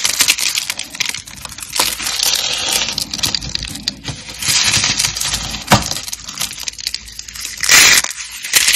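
Fingertips snap and crush thin, dark green dry soap strips flecked with pink glitter, solid and brittle. A dense run of dry, bright crackles and crunchy snaps fills the clip, with sharper breaks standing out now and then. The sound is almost all high and crisp, with little low end and very short decay.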